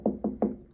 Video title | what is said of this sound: The Best Manikins For Wigs! Look no further!!! | you hear that? She's pretty sturdy.